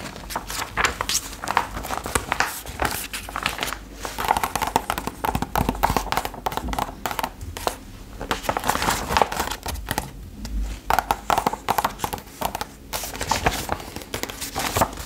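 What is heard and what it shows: Long acrylic nails tap and scratch across the thin printed paper pages of an open retro fashion magazine as it is held up. The result is a steady stream of quick, dry clicks and bright, crinkly paper scratching with occasional soft rustles, each tap dying away almost instantly.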